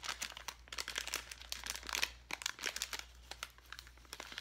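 A clear plastic bag full of foam letters is held in the hand and crinkled and squeezed with the fingertips. Dense, quiet, bright crackling and crinkling comes in quick irregular bursts, with each crackle dying away almost instantly.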